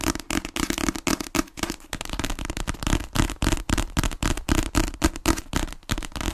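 A paperback book, made of solid paper and held horizontally in both hands close to a microphone, is tapped quickly on its cover with long fingernails. The result is a rapid, uneven stream of dry, crisp taps with a dull, low thump beneath them.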